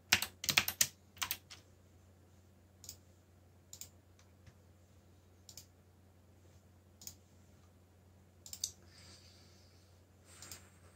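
Fingertips press the keys of a backlit mechanical keyboard with black plastic keycaps, giving bright, clicky strokes. A quick burst of typing opens the clip, then single sharp, short taps come at irregular gaps over a faint steady background.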